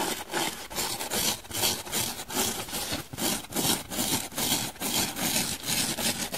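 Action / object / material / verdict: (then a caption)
scrape / hand-sized foam donut sponge / foam / none. Long nails scratch rapidly across both the blue and the white sides of a dry, hand-sized, solid foam donut-shaped sponge. The result is a steady run of bright, hissy, rasping strokes, about two to three per second, with most of the energy high and little low end.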